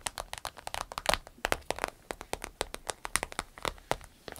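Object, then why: Vinyl zip pouch. Long nails tap and scratch the glossy surface of an empty medium green striped vinyl zip travel pouch. About 29 quick, crisp taps come with a crinkly, bright texture centered near 2 kHz. Each tap dies away almost at once.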